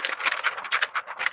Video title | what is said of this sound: The Truth About DTF Transfers: What You Need To Know [Free Workshop] | if I shake it like a piece of paper ... and you could hear the carrier make noise because it's plastic uh it's too cold